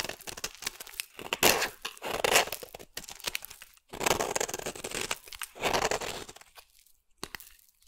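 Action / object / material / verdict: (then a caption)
scrape / green bar soap scraped with a metal blade / soap / none. A solid green bar of soap is scraped into shavings with a metal blade, making dry, crackling, tearing scrapes. The sound comes in bright bursts with almost no low end, separated by short quiet pauses.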